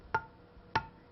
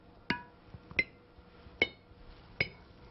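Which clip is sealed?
The second.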